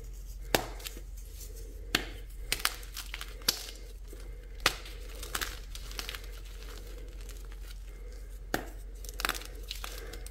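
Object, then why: Magnesium carbonate gym chalk block. Small solid white gym chalk blocks of magnesium carbonate, lightly tinted green, are squeezed and crumbled between the fingers and palms of both bare hands over a pile of chalk chunks and powder. Sharp, dry snaps and crunches ring out at irregular intervals, each dying away almost instantly. Between them comes a soft, bright gritty crumbling over a low, steady background hum.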